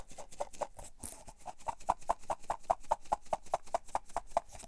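A cylindrical clear plastic tub with a printed label, full of cotton swabs, is turned and tapped with fingertips and nails while the swabs shift inside. It makes a quick, fairly steady run of short, dry hollow taps around 1 kHz, with a brief bright rustle near the one-second mark. Each tap dies away almost instantly.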